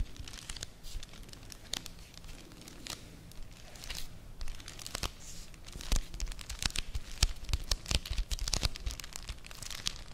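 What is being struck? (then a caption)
Printed cardboard sleeve of a chocolate bar. Long nails tap and scratch the flat surface of a Vanini chocolate bar's printed cardboard sleeve held close to the microphone. Quick, dry, bright clicks and crisp scraping rise and fall over a soft low rumble, with the tapping growing denser and louder in the second half.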